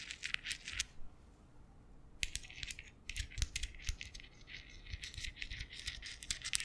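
Fingers wearing metal thimbles tap and scratch directly on the domed woven-metal grille of a large condenser microphone. Quick bright metallic clicks and scraping bursts come in clusters, with a brief quiet pause near the start before the tapping resumes. A soft low rumble sits underneath.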